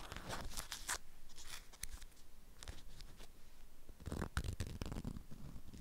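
Long acrylic nails scratch and tap a flat rectangular item wrapped in a strawberry-print beeswax-coated fabric cloth. Dry, crinkly scratching bursts with bright edges come in clusters, busiest near the start and again around the four-second mark. A faint low rumble sits underneath throughout.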